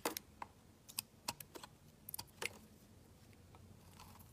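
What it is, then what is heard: Bar soap being shaved with a blade. A hand-sized, solid dark blue bar of soap is shaved and scraped with a utility knife blade, cutting off curls and chips. Thirteen short, crisp scraping clicks with bright, high edges land in the first two and a half seconds. Quiet shaving rasps trail off toward the end.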